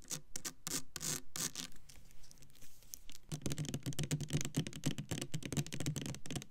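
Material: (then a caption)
Plastic. Long nails rub and scratch the label and sides of a clear plastic Bath and Body Works Black Cherry Merlot foaming hand soap bottle full of pink liquid. Irregular bursts of dry, bright scratching with soft low knocks ease into a quieter, hissy rubbing stretch midway. Then a denser run of quick scratches and taps returns.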